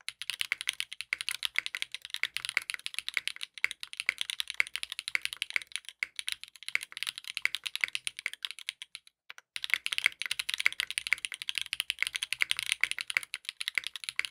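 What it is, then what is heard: Mechanical keyboard with plastic keycaps. Continuous two-handed fingertip typing on a compact 60% mechanical keyboard with a dark purple case, purple ABS plastic keycaps and a polycarbonate plate, resting on a desk mat. Rapid, bright, clicky keystrokes with almost no low end and very short decay run throughout, pausing briefly about two-thirds of the way through before resuming.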